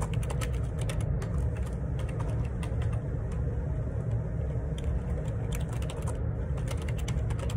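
Fingertips type on the plastic keycaps of a black plastic ergonomic split keyboard, a Perixx Periboard 612, lying on a grey laminate desk. The hollow housing gives a steady stream of light clicky taps over a continuous low rumble that dominates the sound.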